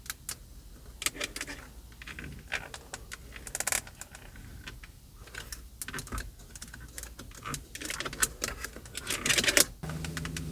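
Long acrylic nails tap and scratch quickly across the hollow, textured plastic airbag cover on a car steering wheel. The result is a dense run of sharp, bright clicks mixed with dry scratching, with short, dead taps that barely ring. Near the end a steady low hum comes in beneath the tapping.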